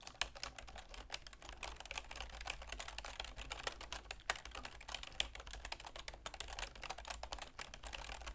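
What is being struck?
Plastic computer keyboard.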